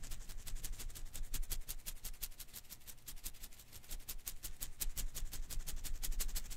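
A hand-sized blue and green rubber-filament Koosh ball is held in one hand while the fingers quickly flick and rub its strands. A rapid, steady stream of soft, bright crackling ticks runs throughout over a faint low rumble, staying quiet with brief swells in intensity.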